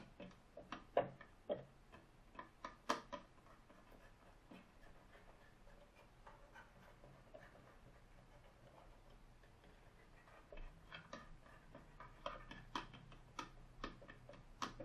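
Fingertips with short painted nails turn and tap the clear plastic finger-wheel dial of a green plastic desk rotary phone with a metal finger stop. The result is quiet, rapid mechanical ticking clicks in irregular bursts, with a quieter stretch in the middle before the clicks pick up again.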